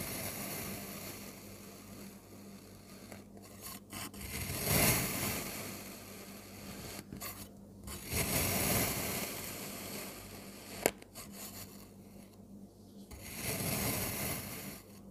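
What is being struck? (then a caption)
Dome of kinetic sand cut with a metal blade. A metal crinkle-cut blade repeatedly slices through a solid, hand-sized dome of blue kinetic sand, giving a crumbly, rasping cutting sound. The cuts swell into several louder grainy passes, with one brief sharp click, over a faint steady low hum.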